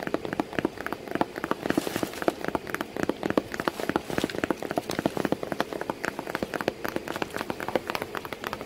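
Fingers tap continuously on a cardboard box with a cat sitting inside it. The taps come as a rapid, steady stream of short, dry knocks with a mid-range, papery tone and almost no ring or low rumble.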